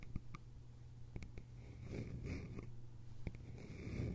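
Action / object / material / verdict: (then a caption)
tap / small bamboo container with lid / bamboo / none. Long nails tap the sides of a small, hollow, cylindrical bamboo container with a lid. There are a few short, dry clicks with quick hollow knocks, scattered over a soft, steady low hum and faint rustling. A thin, bright ringing tone drifts in and out between the taps.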